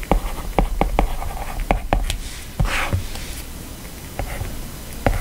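A plastic stylus writes text in steady strokes on an iPad's glass screen, rubbing across the glass and lightly tapping it. About nine short, dull taps stand out over a soft, low scratching hiss, with a brief brighter swish of rubbing midway through.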